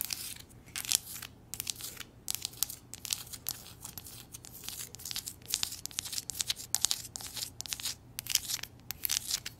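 Long nails scratch and tap a hollow, empty-looking white ceramic coffee mug printed with "muah!" and lips. A dense run of quick, bright clicks and scratchy rasps comes in uneven bursts, each tap dry and clipped with almost no ring and very little low end.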